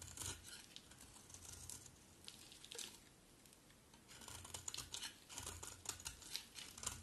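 A metal utility blade scrapes and cuts flakes from the edge of a round, solid bar of dry red-striped soap held in the hand. Quiet, bright, crisp scraping and crackling come in irregular bursts with short pauses, and each shave dies away almost at once.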